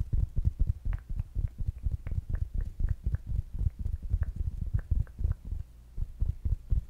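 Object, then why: Small fabric-covered smart speaker. A small, rounded black smart speaker with a fabric mesh cover is tapped steadily with fingertips and nails. The result is a rapid run of short, dull, low thumps, some carrying a brighter click from the nails, with almost no ring between taps.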